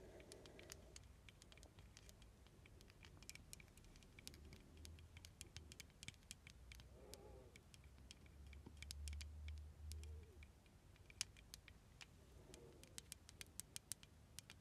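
Long red nails tap and scratch the embossed silver metal filigree overlay of a small ornate glass perfume bottle with a glass stopper, held in the hands. Quiet, sharp, high-pitched clicks and ticks come in a quick, irregular patter over a soft low rumble, with brief scratchy brushes between the taps.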